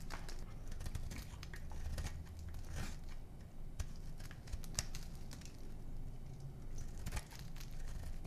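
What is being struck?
Bar of soap scraped by a small metal knife.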